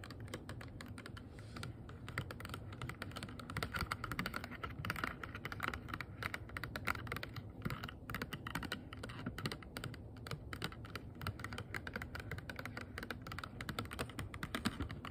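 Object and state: Clear plastic box.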